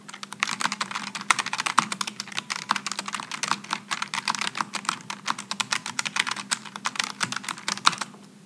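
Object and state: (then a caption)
Low-profile mechanical keyboard typing. Both hands type quickly with their fingertips on a Logitech G915 low-profile mechanical keyboard with aluminum and plastic keycaps. A rapid, uneven stream of crisp, bright clacks runs for about eight seconds, each keystroke short and dry, over a faint steady low hum.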